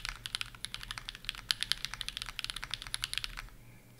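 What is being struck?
Mechanical keyboard, plastic keycaps on aluminum plate.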